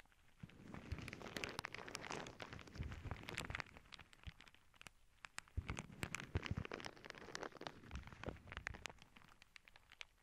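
A clear plastic zip bag full of small clear beads rests on a cork board as long nails scratch it and fingers squeeze it. The result is a quiet, crinkly rustle broken by many sharp little clicks and ticks. The sound swells in two busy bursts with a lull between them.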